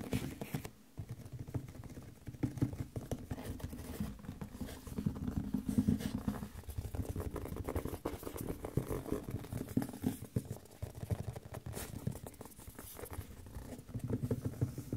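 A medium white printed Audio-Technica cardboard microphone box, hollow, is held up and tapped by fingertips and nails on its top and sides. A steady, dense patter of soft, hollow, low-pitched taps and light scratches runs throughout, each tap quick and dry with almost no ring.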